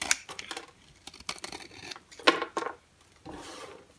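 A green-handled box cutter blade scrapes a rectangular, solid, orange-and-white striped bar of dry soap held in the hand, shaving flakes and powder onto a white surface. Short, dry, crisp scraping strokes come in irregular bursts, with bright rasping detail and almost no low end. A softer, longer rasp closes the clip.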